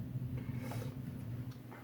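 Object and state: Nothing is struck.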